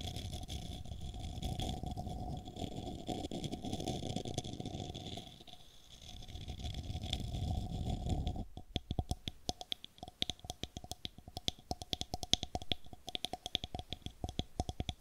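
Long nails scratch along the side and rim of a small, hollow, light-wood cylindrical cup held close to the microphone, making a continuous rough, rumbling rasp that briefly fades midway. Just past eight seconds the nails switch to tapping, producing a rapid run of short, dry clicks that ring with a faint hollow tone.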